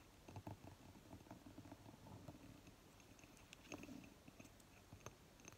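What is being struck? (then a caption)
Glass candle jar with lid. Long fingernails tap and scratch the lid top and ribbed upper rim of a small round glass candle jar filled with green wax, standing lidded on a table. Quiet, dry clicking taps mix with a soft, continuous scratching rustle, and each tap dies away almost at once.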